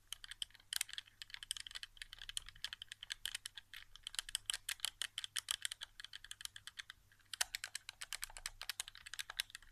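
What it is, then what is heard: Plastic game controller. Very fast fingertip tapping on the face buttons of a hollow white plastic PS4 game controller resting on carpet. It makes a dense stream of short, dry, bright plastic clicks with almost no low end, with a brief lull around the seven-second mark before the tapping picks up again.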